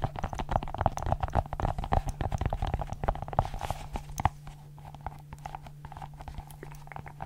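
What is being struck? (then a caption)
Silicone pop-it fidget ball. A small multicolored silicone pop-it fidget ball with hollow bubbles is popped and pressed with fingertips and long nails, giving quick, irregular soft pops and dull clicks. The popping is dense and louder for the first four seconds, then turns into quieter, sparser taps over a steady low hum.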